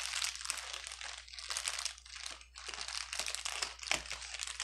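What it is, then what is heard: Plastic bubble wrap being crumpled. A clear plastic air-bubble wrap bundle with empty, hollow air cells lies on a table and is pressed, crumpled and rubbed with fingertips and palm. The result is a dense, continuous bright crinkling and crackling in waves of rising and falling intensity, with almost no low end and a steady faint low hum underneath.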